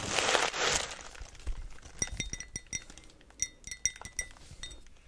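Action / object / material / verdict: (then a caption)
tap / small glazed ceramic pot tapped with fingernails / ceramic / none. A small, hollow, white glazed ceramic pot with blue tissue paper stuffed in the top is held in the hand and tapped with long nails. A loud, broad rustling opens the clip, followed by a series of quick, irregular, light clinks. Each clink has a short, bright ring that fades almost at once.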